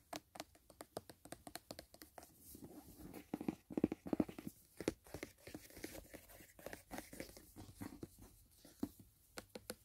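Fingernails scratch and tap along the side wall and edge of a closed, rigid white paperboard gift box. Quick, dry clicks and taps with a hollow low-mid body come in an uneven rapid stream, mixed with bright, papery scratching. The sound stays quiet and close throughout.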